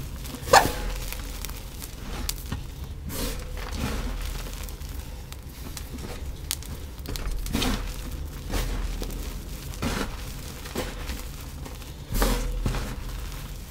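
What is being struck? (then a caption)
Pile of crumbled cornstarch powder. Bare fingertips and palms with short painted nails press, squeeze and rub into a large, loose pile of crumbled, pale yellow-white cornstarch powder on a dark tray. The result is a steady run of soft, powdery crunches over a low, muffled bed, with sharper bursts near the start and again around twelve seconds.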